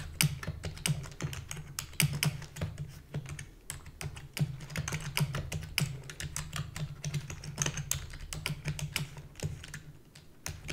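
Long fingernails and fingertips type rapidly on a full-size black plastic keyboard with a hollow body. Dense, dry, bright clicks and clacks fall in quick irregular bursts, each dying away almost instantly. A steady low hum runs underneath.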